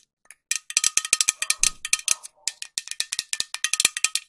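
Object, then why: Metal aerosol can. A medium-sized, hollow green metal aerosol spray can with a white cap is tapped with long nails in a quick series of sharp, bright clicks. Each tap is dry and short with a faint metallic ring near 2.4 kHz, with a brief pause mid-run before the tapping resumes.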